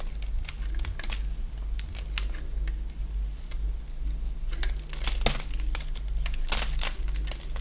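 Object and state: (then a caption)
Dry bar soap being carved. A solid oval bar of dry white soap is held in the hand and carved with a box-cutter blade, letting curls fall onto a cloth. Crisp, crinkly scraping cuts come in quick, bright bursts over a steady low hum.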